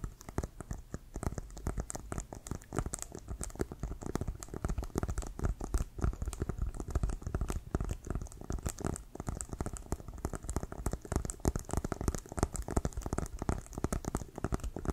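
Fingertips and nails tap rapidly on the pebbled leather of an inflated, hollow leather American football held at one side. The result is a dense, continuous patter of soft, dull thumps with a low, boomy resonance and a faint scratchy edge. Each tap dies away almost instantly.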